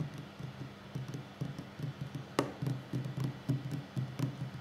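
A solid wooden tabletop is tapped quickly by the fingertips and short nails of both hands. The taps come as soft, dull, low thuds in an uneven rhythm with almost no ring, and one sharper, brighter nail click stands out partway through.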